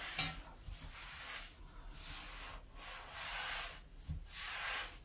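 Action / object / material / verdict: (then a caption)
scrape / ceramic sink basin and sponge / ceramic / none. A hand with red-painted nails scrubs the inner surface of an empty large white ceramic basin sink with a metal drain, using an orange and white sponge. Repeated bright, hissy rubbing strokes sweep back and forth, with faint low bumps underneath.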